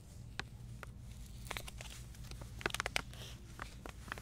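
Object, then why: Flexible plastic pouch of bath salts. A medium flexible plastic stand-up pouch of avocado oil bath soak, hollow and filled with salt crystals, is held in both hands and crinkled and rubbed with long painted nails and fingertips. Sharp, bright crackles and taps stand out over a steady low hum, clustering most densely in the middle of the clip.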